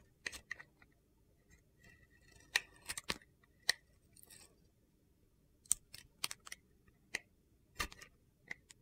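A metal box-cutter blade scrapes the gold and teal glitter coating off a solid rectangular soap bar with an orange inside, held in the hand. About fifteen short, sharp, crisp scrapes ring out, bright and gritty with very little low end, separated by quiet pauses. Each scrape stops almost instantly with no ring.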